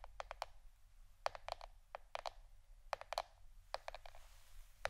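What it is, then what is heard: Plastic board, tapped. A plastic board shaped like a shirt is tapped with the fingernails, giving quick, dry clicks that die away almost instantly. The taps come in loose bursts of two to four over a steady low hum. Each tap has a hollow plastic tone with a bright edge.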